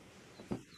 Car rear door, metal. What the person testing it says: ça sonne riche et solide